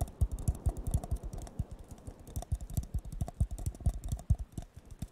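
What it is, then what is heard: Empty paper cup, hollow. A hollow, empty blue disposable paper cup, bottom facing the mic, is tapped rapidly with fingertips and nails. The result is a fast, uneven run of short, dull, low thumps, each with a brief bright click on top. Every tap dies away almost instantly.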